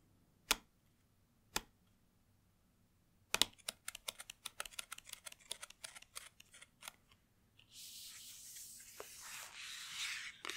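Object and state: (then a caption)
Cardboard box tapped with fingernails. Long nails tap on the back of a long white cardboard watch box with embossed circles, using both hands. Two separate crisp taps are followed by a quick flurry of bright, clicky taps. The clip ends in a steady, high, hissy rustle.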